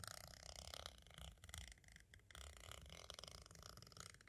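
A pointed green striped tool scratches and traces across the surface of a small, hollow white hard-plastic audio cassette shell. It makes a steady, gritty rasp with a low rumble underneath and bright scratchy detail on top. The scratching dips briefly just after two seconds, then resumes.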